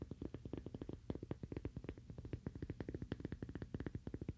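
A cork coaster, the Toaster Coaster, is tapped rapidly with fingernails, giving about forty quick, dull, muffled taps with a low, woody body. Each tap stops almost instantly with no ring, forming a fast, steady, uneven patter.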